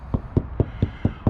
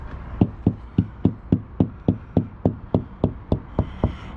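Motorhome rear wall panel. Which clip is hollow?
The first.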